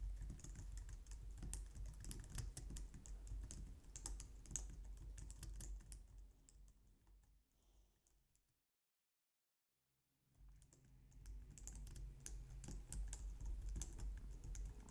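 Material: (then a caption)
Plastic. Long nails and fingertips type on a compact low-profile white plastic computer keyboard, making fast, steady clicking and tapping with bright key clatter over a low thudding undertone. The typing fades out to full silence for about two seconds midway, then picks back up at the same busy pace.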